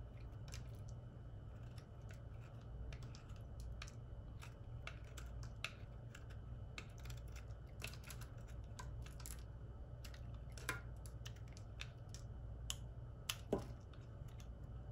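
A solid white oval soap bar held in the hand is carved with a metal utility knife blade, curling off shavings. Frequent short, crisp scraping and cutting clicks sound over a steady low hum.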